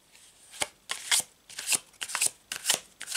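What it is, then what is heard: Paper tarot card deck. A full deck of thin cardstock tarot cards with a checkered back is held in both hands over a cloth-covered table while fingertips shuffle and riffle the cards together. The result is a series of short, bright, papery rustling bursts with quick, dry decays and almost no low end.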